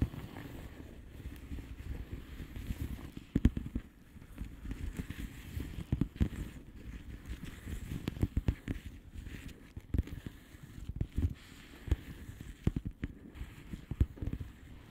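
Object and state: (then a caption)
Plastic bubble wrap envelope. A flat blue plastic bubble wrap envelope is tapped with long polished fingernails. Many quick, soft taps and light crackles sit over a low, dull rumble, each tap dying away almost at once.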